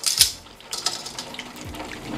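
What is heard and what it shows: Double-fried crispy chicken pieces being handled in a crunch test make sharp, bright crackling and rattling sounds. A loud crackle opens the clip, followed by quieter scattered crunches. The crispness confirms the chicken is crunchy.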